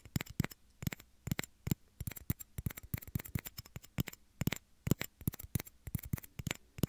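Small, hollow, empty clear plastic shot glasses are held against a microphone's ears and tapped with short fingernails. The result is a rapid, irregular run of short, dry clicks with a hollow low thump and a bright edge, dying away almost instantly.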